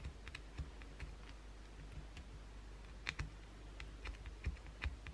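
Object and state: Bar of soap tapped and scratched with nails.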